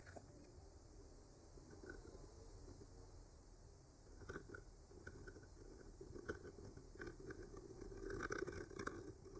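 A thin bamboo skewer with a clipped-on mic, held by the fingertips, slowly traces and scratches over the paint of a flat, solid wooden board painted with branches. It makes a soft, dry, scratchy rustle over a low rumble. The sound grows louder and busier in the second half, with small, quick ticks and brighter scrapes.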